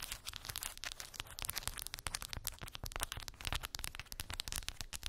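Long pink acrylic nails tap and scratch across a small square cork board covered in glued round wooden beads. The result is a dense, rapid stream of dry, bright clicks and crackling scrapes with a low thump beneath, each sound ending instantly with no ring.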